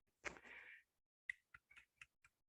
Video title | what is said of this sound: Quill Pens and Oak Gall Ink | it's very hard ... makes a tapping sound